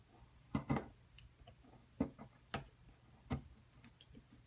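A metal chisel scrapes and chips at the edge of a solid white plaster block from a dinosaur-nest excavation kit, which lies flat and is held down by one hand. Sharp, dry, irregularly spaced clicks and brief crunchy scrapes ring out over a low, quiet background, each snap dying away almost instantly.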